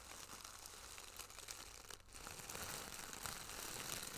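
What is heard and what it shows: A small, flat, iridescent holographic plastic pouch with a zipper is held in one hand close to the microphone while fingertips and long nails tap and scratch it. The result is a continuous, crinkly rustle of quick, irregular taps, bright and hissy in the upper frequencies, with a brief dip about halfway through.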